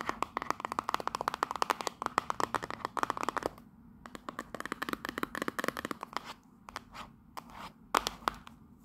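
A small hollow cardboard souvenir box with a Union Jack print is held in the hand and tapped and scratched with long pink nails. A fast stream of dry, crisp clicks with almost no ring carries a papery midrange tone, with scratchy rasps between the taps. After a brief lull near the middle, the tapping resumes, sparser and more scattered.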